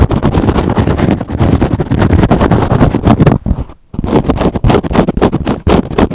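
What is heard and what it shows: Fingernails rapidly scratch and pluck the foam edge of a kitchen sponge with a green scrub pad, held in one hand. The result is a dense, fast stream of dull, low-heavy scrapes and soft flicks, with a brief pause just after the midpoint before the scratching resumes.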